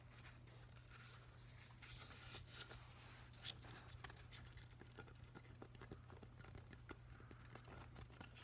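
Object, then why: Driftwood plank. Fingernails tap and scratch along the grain of a solid, weathered driftwood plank held in both hands. Soft, dry clicks and scratchy rasps come in quick, uneven bursts. They sit over a steady low hum.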